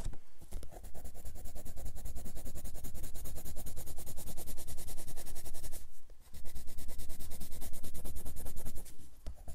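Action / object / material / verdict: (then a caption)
scrape / colored pencil on a paper sketchbook page / paper / none. A dark red colored pencil makes many quick scratching strokes on a page of a spiral-bound grey paper sketchbook resting on a wooden desk. The dry, rapid back-and-forth scratches run in a steady rhythm, with brief pauses near the start, around six seconds, and just before the end.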